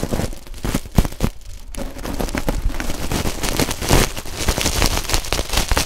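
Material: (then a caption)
Stainless steel. A coiled stainless steel scouring pad is squeezed between two pencil microphones, its metal ribbons crackling. The sound is a dense, uneven crackle with heavy low rumble and sharp snapping bursts, with a brief quieter lull early on before the crackling thickens again.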